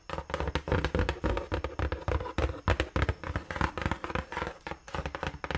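Long nails tap and scratch the side panel of a large, hollow, closed brown cardboard shoe box held close to the mic. A quick, uneven run of dull, hollow, low thuds with short bright scratching between them, each tap dying away almost at once.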